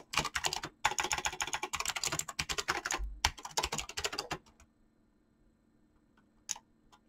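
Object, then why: Mechanical keyboard with PBT plastic keycaps. Fingertips with painted nails type fast on a mechanical keyboard with PBT plastic keycaps, the hands staying on the keys throughout. A dense run of bright, crisp plastic clacks lasts about four and a half seconds, with two brief pauses. It then falls nearly silent, apart from a few faint stray clicks and one sharper tap near the end.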